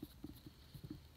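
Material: Nothing is struck.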